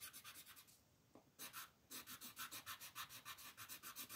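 An orange colored pencil shades a flat white paper mandala coloring sheet in dense back-and-forth strokes, producing a quiet, bright, raspy scratching with rapid rhythmic pulses. The strokes pause briefly near the one-second mark, broken only by a small tick, then resume in a steady run until the end.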